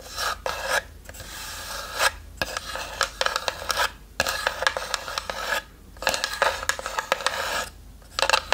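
Long nails scratch the lid of a small, hollow, light-wood box with a brass latch that sits slightly open. Bursts of dry, raspy scraping come with brief pauses between them, with bright, hissy texture and a few sharper clicks.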